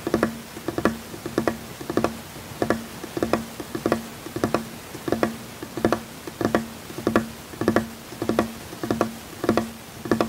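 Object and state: Fingertip taps on a wooden tabletop.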